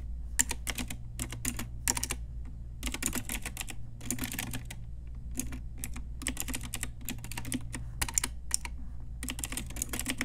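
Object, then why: Plastic mechanical keyboard. An Ajazz pink retro typewriter-style mechanical keyboard with round plastic keycaps is typed on with long nails and fingertips. Quick bursts of bright, clicky plastic keystrokes come in clusters separated by brief pauses, over a steady low hum.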